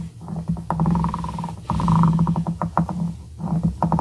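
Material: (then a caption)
Wood. The twisted, ridged glass shaft of a dip pen is rubbed back and forth across the edge of a small, solid, light-wood cube held by the fingertips. It makes a dense, rapid ratcheting scrape with a low, humming tone. The sound comes in sustained bursts separated by brief pauses.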